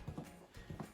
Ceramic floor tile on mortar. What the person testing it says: barely any hollowness but enough to break something if you roll something heavy over it